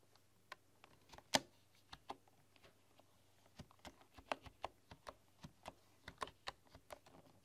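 Slow typing with fingertips and long, dark-polished nails on a full-size computer keyboard with a hollow bamboo case and bamboo keycaps. Each key press is a short, dry, bright tap that dies away almost at once. The taps come at an uneven, unhurried pace over a quiet background with a faint low hum, and one press near the start is noticeably louder.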